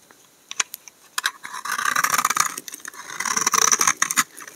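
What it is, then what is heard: Laundry soap bar being scraped. A utility knife blade scrapes along the edge of a solid tan-brown laundry soap bar. A few sharp, bright scratchy ticks come first, then longer bursts of dry, crackly scraping with a crisp high hiss. There are brief pauses between the strokes.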